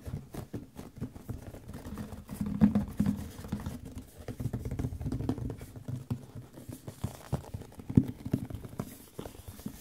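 Fingertips and nails tap quickly on the top and sides of a hollow, medium white printed cardboard microphone box (Audio-Technica packaging). The result is a steady, soft patter of short, dull taps with a low hollow thump and almost no ring. The tapping swells a little around the third second, and a sharper knock stands out near the eighth.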